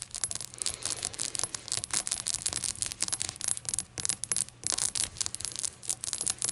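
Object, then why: Small glazed ceramic shot glass. A small, hollow, rainbow-glazed ceramic shot glass standing on a towel is tapped rapidly with long acrylic nails. The taps are bright, short clicks with almost no low end and a very quick decay, coming in dense flurries with brief pauses.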